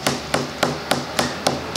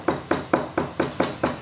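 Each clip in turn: First: loose veneer on table top. Second: well-bonded veneer on a table top.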